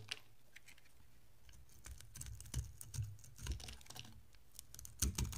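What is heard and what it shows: A utility-knife blade cuts thin, crisp slices from a solid rectangular bar of red and white striped soap with a blue rim. Quiet, irregular, bright crackling clicks and short scrapes come over a low steady hum, with a few sharper snaps near the end. Each sound dies away almost instantly.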